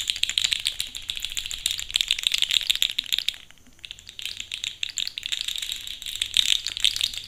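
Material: Plastic.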